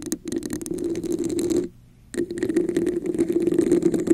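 Long nails tap and scratch the sides of a red, hollow, textured plastic cup held over a microphone. The result is a dense, rapid run of dry clicks and scrapes with a hollow, boxy resonance in the low-mids and bright crackle on top. It stops briefly near the middle and then resumes just as busily.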